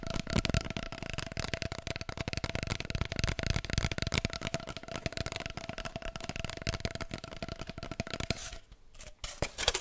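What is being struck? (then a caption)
Cardboard kitchen roll tube. Long nails rapidly tap and scratch an empty, hollow cardboard kitchen roll core, held upright and then sideways. The dense clicking and scraping carries a steady hollow tone from the tube. Near the end it thins out to a brief quiet pause before a few louder, sharper taps.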